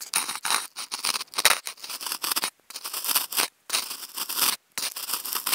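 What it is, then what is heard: Styrofoam food container scratched. A hollow, octagonal white polystyrene foam food container is scratched with wooden toothpicks held in clip mics. Rapid bursts of dry, bright, squeaky scratching run in quick strokes, broken by a few brief silent pauses. The sound is thin and high, with almost no low end.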